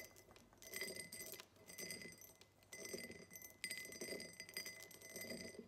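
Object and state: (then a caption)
Cut glass tumbler. Long nails tap rapidly on the sides of a tall, empty cut-glass tumbler with a diamond pattern standing on a table. The result is bursts of quick, bright clicking and clinking, with short pauses between them. A faint, sustained glassy ring near 2 kHz carries through each burst.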